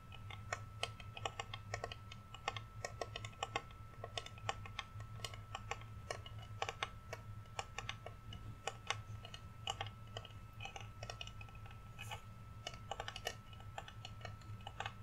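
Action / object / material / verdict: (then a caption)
tap / flat painted wooden reindeer cutout / wood / none. A large, flat, solid painted wooden Rudolph reindeer cutout is held in both hands and tapped with fingernails. Quick, dry, clicking taps follow one another in a rapid, uneven stream, each dying away almost instantly. A steady low hum and a faint constant tone sit underneath.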